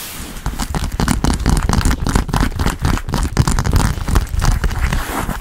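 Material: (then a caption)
Leather. Long pink-painted nails and fingertips rapidly tap and scratch across the puffy quilted panels of a large black quilted soft-leather Kurt Geiger Kensington XXL handbag, held upright on a table, hollow and padded. The result is a fast, continuous stream of dull, low thumps mixed with scratchy rustling, each hit dying away almost instantly.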